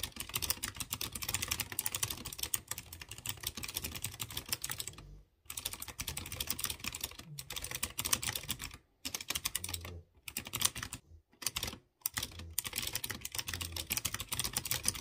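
A hand types rapidly with its fingertips on a typewriter-style mechanical keyboard with chrome-rimmed round keycaps over exposed blue switches. The result is a dense, continuous stream of bright, sharp clicks, broken by a few brief pauses.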